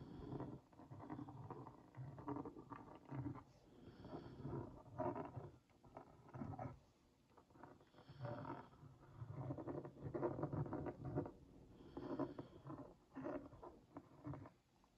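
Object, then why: Cardboard cookie box. The tip of a wooden skewer is traced over the printed logo of a hollow Oreo Mini cardboard box held in one hand, making a scratching sound. The quiet, rough scrapes come in repeated strokes with short pauses between them, and the hollow box gives them a dull low-mid resonance with little brightness.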